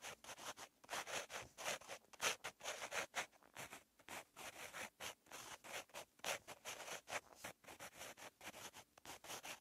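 A purple pen tip scratches across a lined paper notebook page while writing, producing a rapid series of short, dry, scratchy strokes. The sound is bright and papery, with almost no low end and quiet gaps between strokes.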